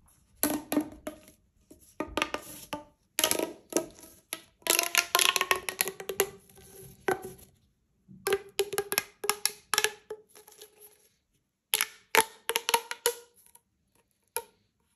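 A single hollow magenta corrugated plastic pop tube is held in both hands and stretched and compressed so its ridges pop. Bursts of rapid, bright clicking and crackling pops come in clusters separated by short pauses, each snap dying away almost instantly.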